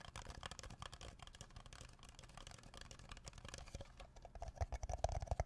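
An empty red plastic party cup (Solo-style) with hollow, thin ribbed walls is held on its side in one hand near the microphone and tapped with the fingertips of the other hand. Rapid, irregular, soft taps give dull low thuds with a faint hollow click on top. The tapping grows louder and more distinct toward the end.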